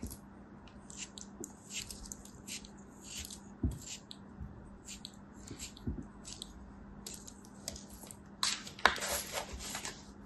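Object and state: Kinetic sand ball being cut.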